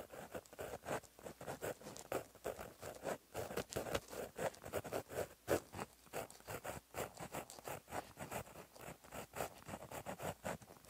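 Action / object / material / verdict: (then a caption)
scrape / paper notebook page under a gel pen tip / paper / none. A gold gel pen tip, held in the fingertips, writes Korean cursive on a flat, solid black lined paper notebook page. Short, dry scratching strokes follow one another in a quick, uneven rhythm, each with a soft papery rasp in the middle range and a faint bright edge. The strokes stay quiet and close throughout.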